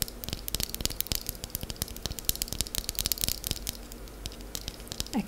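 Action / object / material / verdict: tap / sheet of soft wax paste / wax / none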